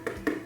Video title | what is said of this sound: 2024 CLEAN WITH ME - CLEANING MOTIVATION - SPRING CLEAN WITH ME - FARMER'S MARKET HAUL - MOM LIFE | if it sounds Hollow like this then it's ripe